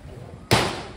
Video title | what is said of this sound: 19-02-24: SENGGGARANG - PROGRAM PEKEBUN KECIL | Keras sikit. Kita ketuk kan dia. Ni tujuan bawah keras.